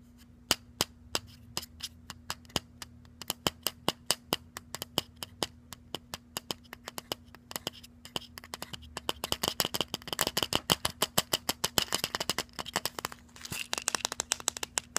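A white plastic supplement bottle with a red label, filled with tablets, is tapped with fingernails in sharp, bright clicks. The clicks get faster and denser as the bottle is shaken, so the tablets rattle in a crackling burst over a faint steady low hum.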